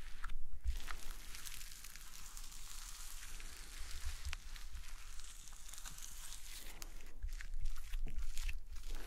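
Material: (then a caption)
Slime. Fingertips and nails press, poke and knead a large, flat sheet of soft, solid pale green slime lying on a table. A steady run of crunchy, squishing crackles fills the clip, bright and crisp over a faint low rumble, swelling slightly near the start and the end.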